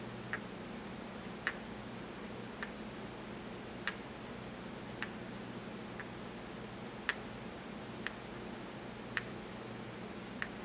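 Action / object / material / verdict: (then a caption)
tap / porcelain mortar and pestle / porcelain / none. A porcelain pestle taps and swirls inside a small, empty white porcelain mortar held in the palm. Ten sharp, bright clicks, evenly spaced about a second apart, each die away almost at once over a faint, steady low hum.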